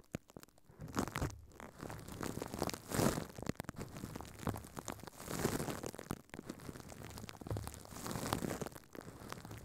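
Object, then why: Thin plastic film over a microphone. A furry pink puppet's hands crumple and squeeze thin clear plastic film wrapped over a microphone head on a stand. Close, dense crinkling and crunching rustles come in waves, with louder muffled swells around 1, 3, 5.5 and 8.5 seconds.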